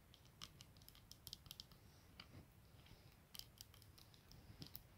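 Long nails scratch and tap the clear lenses and black plastic frame of a pair of eyeglasses resting on a blanket, then lift and turn the glasses near the end. Quiet, sharp, bright clicks and scratchy ticks come in irregular clusters over a soft low rumble, each dying away almost instantly.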